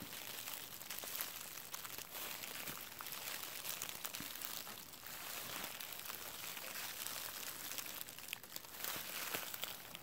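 A large clear plastic bubble wrap sheet with hollow air bubbles is crinkled and squeezed between the fingers of both hands. The result is a soft, continuous, bright crackling and crinkling with small sharp snaps scattered throughout, with little low end.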